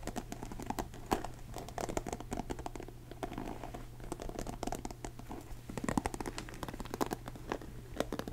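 Fingertips scratch the bristles of a blue plastic paddle hairbrush and rub its cushioned face. The result is a dense, steady run of quiet, crisp ticks and scratchy crackles, with brighter snaps standing out now and then over a low, constant hum.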